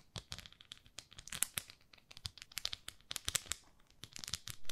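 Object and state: Plastic facial cleansing brush.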